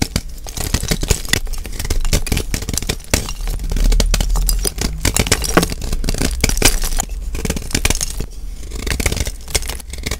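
A solid white gym chalk block (magnesium carbonate) held in the hand is scraped and shaved along its crumbly top edge with a metal blade, and the flakes fall into a bowl. The result is a steady run of crunchy, gritty scraping strokes with bright, crackly edges over a low rumble.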